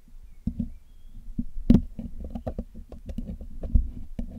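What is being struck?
Metal mesh microphone grille.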